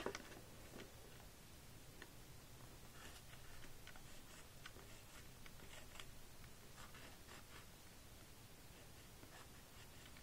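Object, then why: Plastic magnetic drawing board with plastic stylus. A white plastic stylus on a string is scratched and drawn across the screen of a small pink plastic magnetic drawing toy lying flat on a table. Quiet, steady scratching and scraping strokes come with brief bright streaks over a low, constant background rumble.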